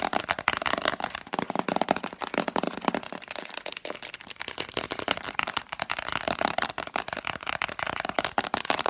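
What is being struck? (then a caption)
Plastic tub with cardboard sleeve. A Spontex vinyl-glove package, a hollow, translucent plastic container with an orange printed cardboard sleeve, is held in both hands and tapped quickly with long manicured fingernails. The result is a dense, continuous stream of sharp, dry clicks and hollow plastic taps with bright crackle and almost no low end, keeping an even intensity for the whole clip.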